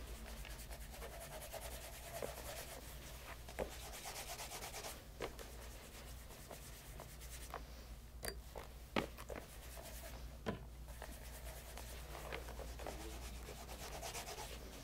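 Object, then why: Leather loafer. A light brown pebble-grain leather loafer with a shoe tree inside and a rubber sole rests on a lap over a leather apron. Fingers wrapped in a white cloth rub polish over the upper and welt. A steady soft, hissing rub is heard over a low hum, broken by occasional brief taps and scuffs.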